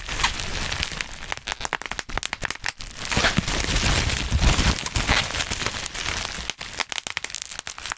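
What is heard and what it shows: A dark black plastic bubble wrap sheet is gathered in both hands right above the mic while fingertips pinch and pop individual bubbles. The result is a dense, irregular run of sharp pops and cracks over constant crinkling plastic, with bright snaps and a low thump beneath.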